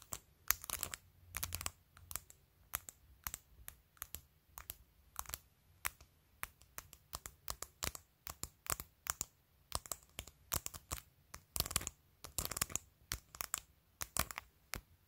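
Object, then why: Plastic phone case with glued acrylic nail tips. Long decorated acrylic nails tap rapidly on a clear plastic phone case held upright and covered in rows of colored acrylic press-on nails, striking both the glued nail tips and the case surface. The result is a quick, irregular stream of sharp, bright, typing-like clicks with almost no ring, over a faint low hum.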